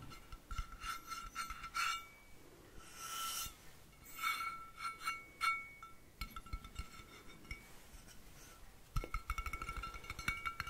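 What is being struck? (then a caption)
Stainless steel water bottle. A blue-painted, hollow stainless steel water bottle with a black cap is held up and tapped along its body with fingertips and nails. Quick taps and light clicks keep a clear, ringing metallic clink sustained at two steady tones, with a few softer brushing swells in between. A denser burst of bright taps comes near the end.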